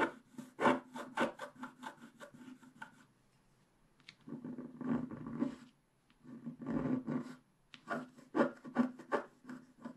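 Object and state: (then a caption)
Scratch-art card being scraped. A wooden stylus scrapes the remaining black wax coating from the sky area on the right of a flat scratch-art page with a colored base. Quick, dry scratching strokes come in bursts, pause briefly, then return as longer rasping passages with a low, grainy body around 250 Hz before rapid strokes resume at the end.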